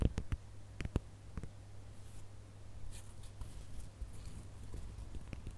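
Fingertips and nails scratch the glitter on a gold glitter plastic star ornament held close up. Several sharp, dry clicks come early, then softer, brittle scratching crackles follow over a steady low hum. The clip stays quiet throughout.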